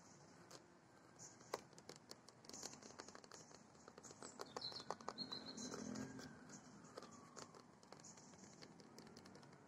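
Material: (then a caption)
Plastic. Fingernails and fingertips tap quickly on a large, hollow, orange molded-plastic playground spinner dome with embossed HAGS lettering. The result is a dense run of short, dry, irregular clicks and knocks that swell slightly louder in the middle. A steady, soft, bright hiss sits underneath.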